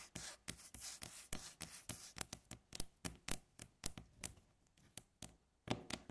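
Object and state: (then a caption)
Wooden tabletop tapped with fingernails. Long fingernails on both hands tap quickly across a flat, solid, light-coloured wooden tabletop. Each tap makes a sharp, dry click with a brief low knock and a bright edge that dies away almost at once. The taps come in an irregular, rapid patter, with a hissy brushing sound between them early on.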